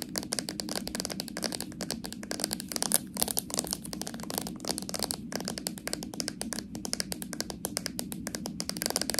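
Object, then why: Small plastic jar with metal lid. Long nails tap quickly and continuously on the plastic body of a small, full slime jar with a metal lid. The result is a dense stream of short, bright clicks that stop almost instantly, over a steady low hum.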